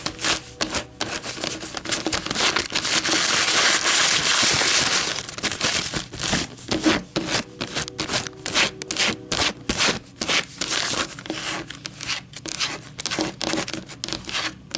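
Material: Paper.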